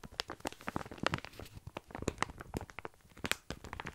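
Fingertips scratch and squeeze a full plastic bag of tiny dry pasta held close to the mic. The result is a rapid, irregular series of short, dry crunches and crinkles, with sharp bright clicks over a soft low rustle.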